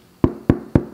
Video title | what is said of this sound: No Fail Sourdough Recipe!! | sounds hollow inside and that's a great indication of whether your bread is finished or not